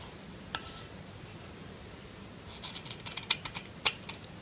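A solid lilac bar of soap held in the hand is scraped and shaved with a metal kitchen knife blade, shedding flakes. A soft, dry scraping hiss gives way to a run of sharp, bright clicks and scratches that cluster in the second half, with a few louder snaps standing out.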